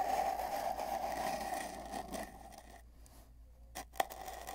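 Fingertips rub and scrape at both ends of a long, hollow, empty cardboard mailing tube with tape bands, lying on a bed. A steady, hollow scraping with a resonant midrange hum gradually fades to near quiet. Near the end come two brief, sharp scuffs and a softer rub.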